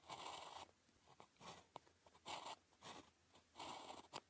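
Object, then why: Thin paper sheet under a ballpoint pen. A blue ballpoint pen writes Chinese characters on a flat sheet of thin paper with a red grid, its tip scratching across the surface. Short bursts of dry, bright scratching strokes alternate with brief pauses and a few sharp ticks as the pen lifts and lands.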